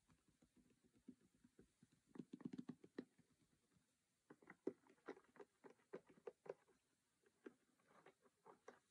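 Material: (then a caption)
Cardboard. Fingertips and nails of both hands tap and scratch the lid of a closed cardboard Monopoly game box, printed white and red, resting on a cork surface. Quiet, dry, papery taps patter in quick irregular clusters, with a brief pause before another burst of sharper taps. Soft scratching fills the gaps, and each tap dies away almost at once.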